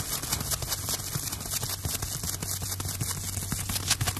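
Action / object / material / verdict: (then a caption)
scrape / porous sponge block / sponge / none. Fingertips handle a hand-sized block of light, porous, yellow sponge-like material held up close. The result is a steady stream of dense, bright crackling and scratchy ticks over a constant low hum, with quick, dry taps that fade almost instantly.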